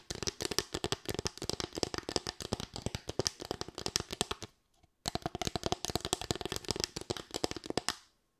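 Long white nails rapidly tap and scratch a small, light, solid bamboo board with raised slats, making dense, dry, bright clicks with a woody knock. The taps come in two fast runs separated by a brief pause near the middle, each click dying away almost instantly.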